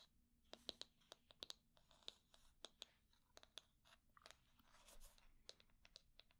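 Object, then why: Wooden hair brush. Long nails scratch and tap the wooden back and edge of a solid wooden hair brush held sideways. About twenty sharp, quiet clicks with a bright tone near 3.9 kHz die away almost instantly, mixed with soft, dry scratching rustles between them.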